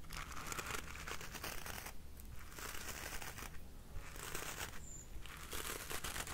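Fingertips scratch the dark bristles of a black plastic paddle hairbrush set on a pink rubber cushion. Bursts of bright, crinkly scratching alternate with brief quieter pauses over a steady low hum.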